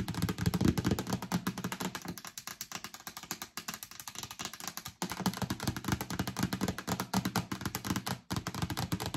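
Long nails scratch and click along the ribbed rim and base of a hollow yellow plastic storage bin. A rapid, continuous stream of short dry clicks and scrapes sits over a hollow, low plastic body tone, with brief pauses near the middle and end.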